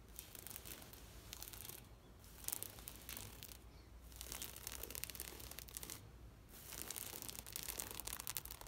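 Long nails scratch across a large, thin, green knitted plastic shade mesh net, making a dense, bright, crackling rasp. The scratching comes in sustained passes, broken by brief quiet gaps near 2, 3.7 and 6 seconds.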